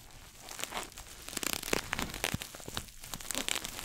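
A small red glossy coated-nylon pouch shoulder bag, held in both hands, is scratched and tapped quickly with fingernails. The result is a dense, bright crinkling scratch full of quick dry taps and crackles. Each sound stops at once without any ring.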